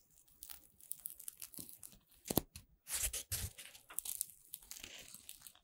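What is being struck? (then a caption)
Puffed corn-starch foam pieces. A flower sculpture made of puffed corn-starch foam playcorn pieces, with white petals, a yellow centre and a green stem of joined segments, is held in both hands while fingers with long red nails bend and squeeze the stem. This produces quiet, dry rustling and crinkling with bright, tearing crunches, and louder squeaky bursts near the middle of the clip. Each crackle stops dead with no ring.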